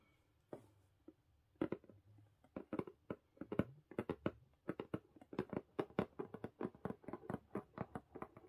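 A medium-size blue printed corrugated cardboard Book of the Month shipping box, closed, hollow and likely empty, is tapped and scratched with the long painted nails and fingertips of both hands. About 34 short, dull, hollow taps with brief scratchy edges start sparse, then grow into a quick, steady patter. Each tap dies away almost at once.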